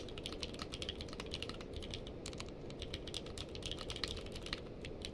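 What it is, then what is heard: Mechanical keyboard with plastic keycaps. Steady two-handed fingertip typing on a purple-case mechanical keyboard with plastic keycaps produces a fast, irregular stream of short, bright clacks. The clacks ring out briefly over a constant low hum.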